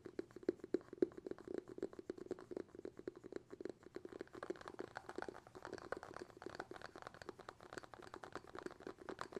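Fingertips tap rapidly on the bamboo lid of a glass jar held lid-forward, making a dense stream of short, dry, hollow taps with a woody tone. The taps die away almost instantly, and their rhythm loosens and grows slightly brighter in the second half.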